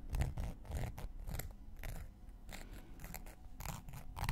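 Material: Cork.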